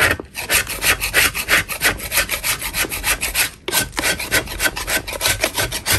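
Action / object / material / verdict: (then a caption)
scrape / chalk block scraped with a metal blade / chalk / none. A flat, solid chalk block held in a gloved hand has its surface scraped with a metal putty knife. Quick, rhythmic rasping strokes repeat steadily, bright and gritty with a short dry decay, and there is a brief pause partway through.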